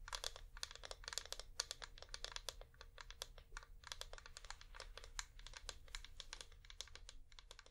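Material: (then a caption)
Wax. A flameless wax pillar candle is held in both hands and tapped with long nails. Rapid, dense streams of short, bright clicks patter across the surface with a faint low rumble underneath.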